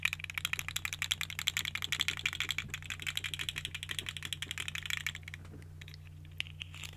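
A small, hollow, colorful segmented plastic fidget slug toy is held in both hands while fingers with long nails twist and bend its segments, producing a rapid run of about 38 crunchy, bright, sharp clicks. The clicking stops at about 5.3 seconds, leaving a steady low hum with a few scattered clicks until the end.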